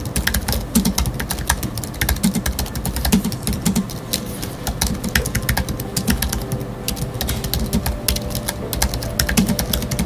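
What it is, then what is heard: Aluminium and plastic computer keyboard. Fingertips of both hands type rapidly on a space grey Apple Magic Keyboard with numeric keypad, its thin aluminium body and black plastic keys resting on a wooden desk. A steady stream of quick key taps is heard for about ten seconds, each a short, dry click with a low thud and a bright tick that dies away almost instantly.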